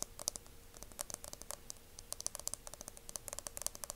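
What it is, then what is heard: Aluminum hair mousse can. A dark, hand-sized cylindrical aluminum hair mousse aerosol can, hollow metal, is held in both hands and tapped and scratched along its body with fingertips and nails. The result is a quiet, rapid, irregular stream of sharp, bright clicks and scratchy ticks that stop dead with no ringing, over a faint steady low hum.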